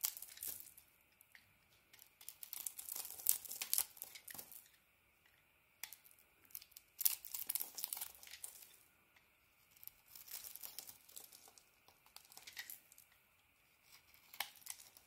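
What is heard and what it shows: A solid green ISANA bar of soap held in the hand is shaved and scraped with a craft blade, sending curls of soap flaking off. Quiet bursts of crisp, high, papery scraping and crinkling come in separate strokes with short silent pauses between them.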